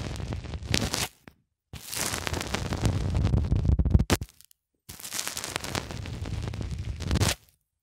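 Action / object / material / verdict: scrape / polyethylene foam block pressed with a small plastic cylinder / polyethylene foam / none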